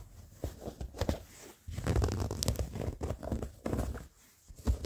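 Short fingernails and fingertips scratch worn blue cotton denim jeans with frayed seams and a pocket, the soft fabric bunched up. The result is a run of close, uneven bursts of dull, low scratching and rustling with quiet gaps between strokes, mostly muffled with little brightness.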